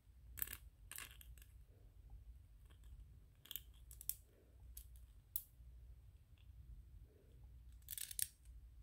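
Fingernails scratch and rub a small white 3D-printed PLA plastic ghost toy. Short, sharp bright scrapes and ticks come in scattered bursts over a steady low hum, staying quiet overall.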